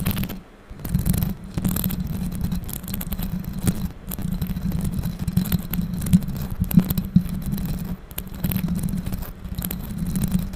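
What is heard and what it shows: Long pink acrylic nails scratch and tap the bare, hollow metal mesh grille of a condenser microphone with no foam cover. The result is a steady, close, low-heavy stream of rapid scratchy rustling and quick, dull taps. It has a boomy hum around 180 Hz and very little high-frequency content, with brief dips where the contact pauses.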